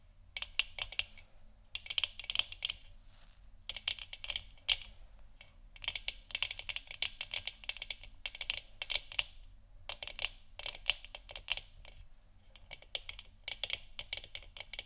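Long nails scratch and tap over the textured surface of a hollow plastic moon lamp sphere, working from the top and the sides. Bursts of rapid, bright, clicky taps and scrapes come in clusters separated by short pauses, each tick dying away almost instantly and centered around 2.9 kHz.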